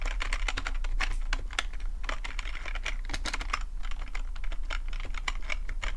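Fingertips type steadily on a full-size black plastic computer keyboard with a hollow plastic body, giving a rapid run of short, dry clicking taps. Each keystroke clicks bright and dies away almost at once, over a steady low hum.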